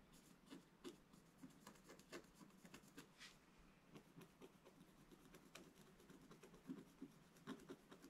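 A wooden stylus scratches lines into the lower area of a flat, black-coated scratch art card, producing a quiet run of short, dry scraping strokes. Each stroke carries a light, bright rasp over a soft, low body, with little ring after each one.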